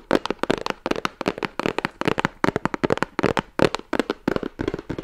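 Fingertips and nails tap and scratch the sides of a hollow, rigid cardboard Guerlain gift box, printed in red and gold and held in the hands. Quick, dry taps in an irregular, rapid run give a hollow, papery knock centered in the low mids, with bright scratchy edges. Each tap dies away almost instantly.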